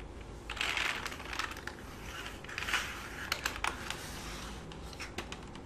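Fingertips and short nails type and tap on the keys of a black full-size plastic computer keyboard resting on a lap, and a hand rubs across the keys. Soft, bright rubbing swishes alternate with quick, sharp plastic clicks and taps, with the loudest clicks clustered near the middle and end.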